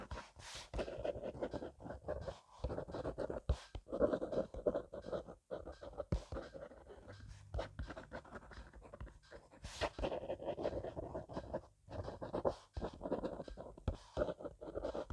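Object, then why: Ballpoint pen on notebook paper. A hand with painted nails scribbles fast across the grid page of an open spiral-bound paper notebook lying flat on a wooden table, using a blue plastic ballpoint pen. The pen tip makes dense, rapid scratching strokes in quick bursts with brief pauses, centered in the midrange with a dry, papery rasp.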